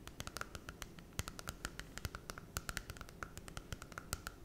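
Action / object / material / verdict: tap / glossy cardboard book cover tapped and scratched with fingernails / cardboard / none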